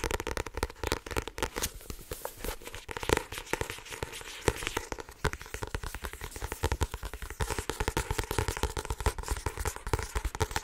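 A small paperback book with a blue printed card cover and a solid block of paper pages is held in both hands and tapped and scratched fast on its cover and edges with long painted nails and fingertips. A dense, steady stream of short, dry taps and clicks with brief scratchy rasps runs throughout, each one dying away almost instantly.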